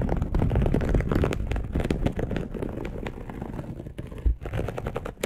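Long acrylic nails of both hands scratch a dark polyester mesh bed sheet, making a dense, rapid run of scratchy, rustling strokes. The sound is mostly deep and rumbly with a lighter crinkly texture on top, and the strokes blur together too closely to count.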